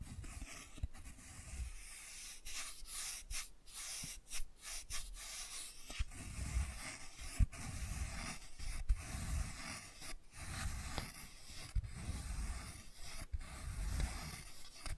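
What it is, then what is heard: Cardboard board book. Fingers rub and scratch along the thick cardboard edges and spine of a closed hardcover board book held flat. The result is a soft, steady rubbing with a low, muffled body, broken by brief, brighter scratchy strokes throughout.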